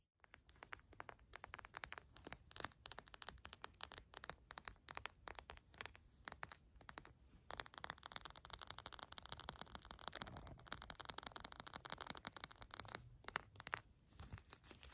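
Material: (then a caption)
Plastic. Long matte black nails scratch and tap a clear plastic eye mask filled with green gel beads as it lies on a fluffy rug. A dense run of quick, bright clicks and crackly scratches comes through, with a steady rustling texture underneath and very little low end.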